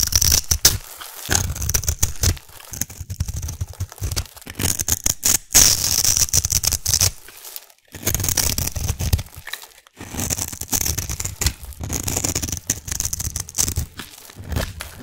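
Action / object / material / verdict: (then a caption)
scrape / solid soap cube / soap / none. A metal blade carves thin slices off the top of a solid, palm-sized, dark grey-black soap cube held in the hand. The result is a run of dense, bright scraping and crackly tearing strokes, each with a low thump under it. Short pauses separate the bursts.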